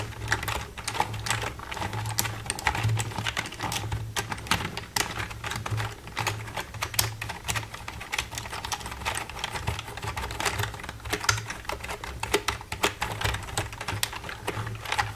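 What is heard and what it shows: The keys of a black plastic computer keyboard are tapped and scratched with long red nails. Quick, bright plastic clicks and scrapes come in a dense, uneven stream. A steady low hum runs underneath throughout.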